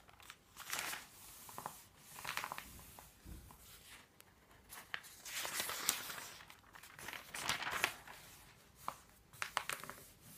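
Hands smooth the pages of an open paper phone book with the palm while fingertips turn its thin paper pages. Soft, bright rustles and crinkly swishes come in repeated bursts, with a few sharper snaps of paper and almost no low end.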